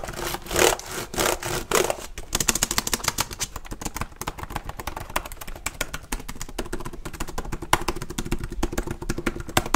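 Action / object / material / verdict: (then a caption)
tap / plastic laptop keyboard / plastic / none. Fingertips type and tap rapidly on the plastic keys of a black HP laptop held tilted. A few broad, scratchy strokes in the first two seconds give way to a dense, fast stream of sharp, dry clicks with bright, short-lived key clatter over a faint low hum.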